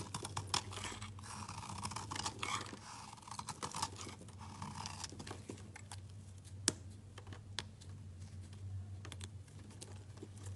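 A metal utility knife scrapes and cuts small chunks from the edge of a solid layered rainbow bar soap, producing bright, dry scraping rasps and crisp little cutting clicks. A steady low hum runs underneath, and one sharper snap stands out near the middle of the clip.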